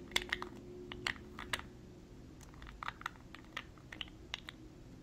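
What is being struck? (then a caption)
Small glass jar with metal screw lid. A small clear glass cosmetic jar with a gold-colored screw lid, held between both hands, is tapped with long nails on the glass and the lid. The result is a quick, uneven series of sharp, bright clicking taps that die away almost instantly, over a steady low background hum.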